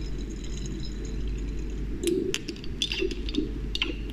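Hands with long painted nails draw a glass pipette out of a small, partly filled dark glass serum bottle and reinsert it into the neck. After about two seconds of steady low hum, sharp, bright, short glass clinks ring out in quick succession over the hum.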